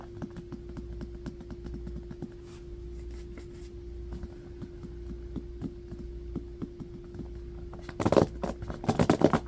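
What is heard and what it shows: A small striped bamboo hairbrush is held in the hands and then set on carpet while fingernails scratch its bristles and wooden back. Quiet, rapid soft ticks and scratches sit over a steady low hum near 300 Hz. Near the end they give way to louder, brighter bursts of raspy scratching.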